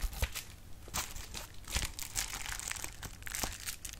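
A sheet of clear plastic bubble wrap is handled and its bubbles are popped with fingers. Bright crinkling runs throughout, broken by sharp, brief snaps with a low thump beneath them, and each pop dies away almost instantly.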